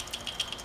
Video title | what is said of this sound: Sur-Ron BreakdownTear Apart and Review | when you shake it you hear the rattle